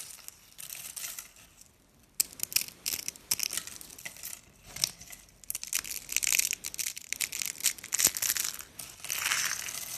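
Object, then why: Cream soap curls and flakes. Dry cream soap curls, shaped as a rolled rose and loose flakes, solid and brittle, are squeezed and crushed in the hand, then raked through with the fingers. The result is a dense run of sharp, bright crunching and crackling snaps with almost no low end, pausing briefly near the two-second mark before the crushing resumes.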